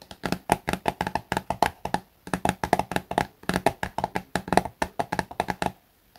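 A small, soft plastic Garnier face-wash tube that appears filled is held upright and tapped on its top and front with fingertips and short nails. About three dozen quick, dry, hollow taps come in rhythmic bursts with a mid-pitched plasticky knock and almost no ring. There is a brief pause just after two seconds and a final silence near the end.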